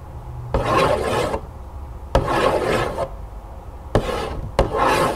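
Long acrylic nails tap and scratch the surface of a large, hollow, printed cardboard cereal box lying flat on a table. Four sharp taps are each followed by a dry, raspy scratching burst with a hollow midrange tone, separated by quiet gaps.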